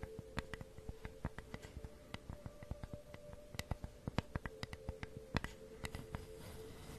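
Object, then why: Flat wooden flower cutout with grooves. Long nails tap and scratch along the grooves of a flat, solid wooden flower cutout held up in front of the microphone. Quick, dry clicks with almost no ring come in an irregular patter over a soft scratching hiss and a faint steady tone.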